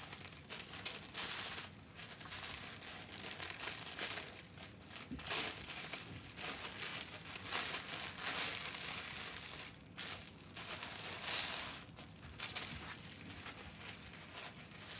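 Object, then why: Thin tissue paper sewing pattern. A thin tan tissue-paper sewing pattern piece, number 13, lies on a fabric ironing board while fingertips smooth, fold and crease it. A steady, bright, airy crinkling rustles on for the whole clip, with little low end, louder bursts and brief quieter dips.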